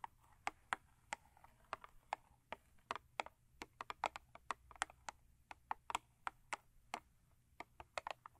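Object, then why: Thin cardboard box. Long acrylic nails tap on the top and end of a thin cardboard Crest toothpaste box lying lengthwise on a fur rug. About 30 quick, dry, hollow clicks, irregularly spaced, each dying away almost instantly, with a papery midrange tone centered near 1.3 kHz, bright edges, and almost no low end.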